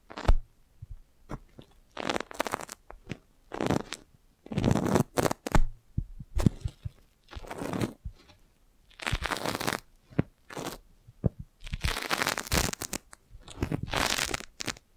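A clear, crinkled, thin, hollow plastic magic balloon bubble, about fist-sized and held beside the mic, is tapped and scratched with long lavender nails. Short bursts of crinkly, rustling scratches alternate with quick soft taps and low, hollow thumps, with brief quiet gaps between them.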